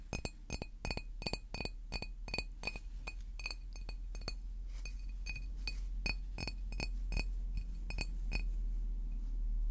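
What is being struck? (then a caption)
Large glass water bottle. A large green glass water bottle, first upright and then tilted, is tapped with fingernails in a quick, uneven stream of bright clinks. Each tap rings out with a high glassy tone that fades in under half a second over a steady low hum.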